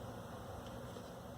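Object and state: Nothing is struck.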